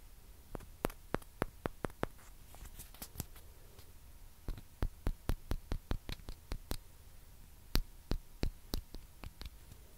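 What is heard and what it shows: Long nails tap on small, hollow white plastic ping pong balls held near the mic, making 26 sharp, crisp clicks with a bright tick and almost no ring. The taps come in a quick run over the first two seconds, pause, return as a steady series from about 4.5 to 6.7 seconds, and then a few more land near the end. A faint low hum sits underneath throughout.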